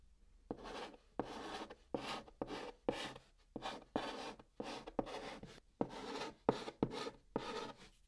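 Fingers hold a white chalk stick and write Korean text on the flat top of a brown cardboard box. The chalk makes a string of short, dry, scratchy strokes with a bright rasp, each starting with a small tap and separated by brief pauses.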